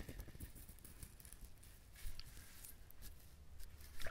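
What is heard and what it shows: Fingernails scratch and tap the hard, fibrous shell of a whole brown husked coconut, making soft, dry scraping and light tapping. Faint bright scratches ride over a low rumble, with slightly stronger taps near 2 seconds and at the end.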